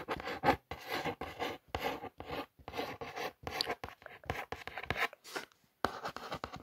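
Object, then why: Cardboard box. Long nails trace and scratch across the printed lettering on a hollow brown cardboard box for a ring light. A series of short, dry rasping strokes is heard, each separated by brief pauses. The strokes carry a papery mid-range scratch with some bright edges.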